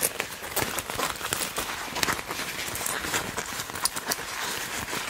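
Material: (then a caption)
Leather. Hands with long nails gather and squeeze a section of a black leather (likely faux) jacket sleeve, crumpling it between the fingers. The result is a steady, bright stream of crinkling, creaking rustles with frequent sharp crackles and little low end.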